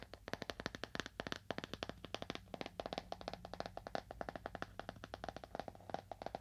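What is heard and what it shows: Fingernails tap on a leather-bound book at a moderate to fast pace. Each tap is a short, dry click with a mid-range knock around 690 Hz and a bright edge, dying away almost at once. The taps come in a quick, uneven stream over a low, steady background hum.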